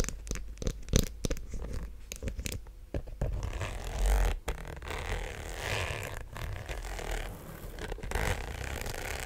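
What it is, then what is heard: Faux leather shoulder bag tapped and scratched. Long black-painted nails tap and scratch the textured surface of a small black croc-embossed faux leather shoulder bag with a zipper top, held up close to the mic. About three seconds of sharp, separate taps give way to a steady scratchy rustle over a deep, rumbling handling thud.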